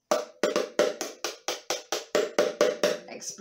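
A large hollow plastic Haribo sweet tub with a red plastic lid, held sideways, is tapped on the lid with a white plastic spoon in a steady run of fourteen hits. Each tap gives a hollow, knocking tone around 600 Hz that dies away quickly, with almost no low end.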